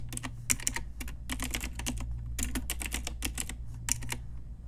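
Rapid clusters of sharp, bright plastic clicks come from typing on a pink Ajazz retro typewriter-style mechanical keyboard with round plastic keycaps, struck with long nails and fingertips. The keystrokes arrive in quick bursts separated by short pauses, each click brief and crisp, over a steady low hum.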